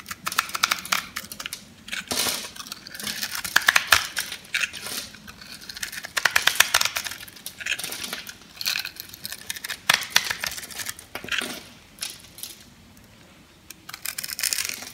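A metal blade cuts crunchy cubes off a pink-red solid dry soap bar held in the palm and scored in a grid. Bursts of bright, dry, crisp crackling and snapping repeat across the clip, with short quiet gaps between cuts and almost no low-end body.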